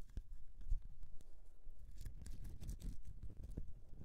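Nail tips scratch and dig into the surface of a solid bar of soap resting on a mesh mat. The result is a quiet, continuous, low-heavy scraping texture broken by many short, crisp clicks and ticks with faint bright edges.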